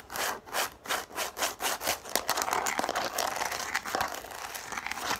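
Long nails scratch the ridged top of a yellow plastic frisbee, first lying on a table and then held, in rhythmic, bright, raspy strokes. The scratching then gives way to quicker, denser tapping and scratching with sharp clicks.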